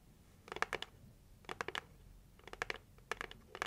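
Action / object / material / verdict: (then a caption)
tap / cardboard gift box / cardboard / none. Long acrylic nails tap the lid of a hollow pink printed heart-shaped cardboard box. The taps come in five quick bursts, each a dry, bright click with almost no ring, separated by near-silent pauses.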